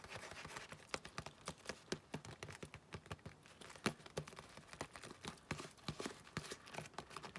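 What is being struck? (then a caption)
Leather wallet with metal plate. Long painted nails tap on a closed, long cream leather wallet with a round metal logo plate on its flap. The result is a quiet, steady stream of quick, dry clicks and light knocks, each dying away almost at once, with soft rustling between them.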